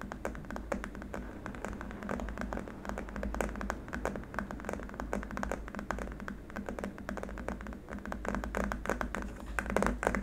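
Fingertips and nails of both hands tap rapidly across a long, flat, solid white hard-plastic keyboard wrist rest, like fast typing. Dense, crisp clicks with almost no ring fall in a steady flurry over a constant low hum, with a few louder taps near the end.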